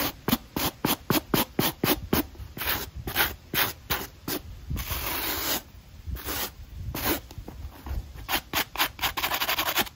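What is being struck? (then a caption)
Rubber and foam shoe sole with a stiff nylon brush. A black Nike running shoe, held upside down in hand, has its textured rubber outsole and white foam midsole scrubbed dry back and forth with a small black stiff-bristle nylon brush. Quick, uneven scratchy strokes, bright and hissy, come in rapid bursts, with a few longer continuous rubs in between.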